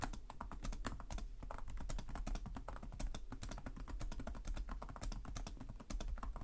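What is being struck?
Plastic laptop keyboard.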